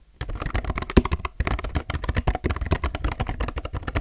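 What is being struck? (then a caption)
Mechanical keyboard with plastic keycaps. Both hands' fingertips type continuously on a solid, full-size, low-profile mechanical keyboard with plastic keycaps and a grey case. After a brief silence, a rapid, steady stream of short, dry keystrokes begins. The clacks are deep and low-heavy, with a soft top end and almost no ring.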